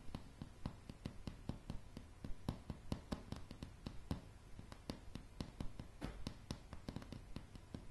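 Long, dark, polished nails on both hands tap solid light pine floorboards in a quick, uneven rhythm. Each tap is a short, dry click with a dull low thump underneath that dies away almost at once, over a soft, steady background hiss.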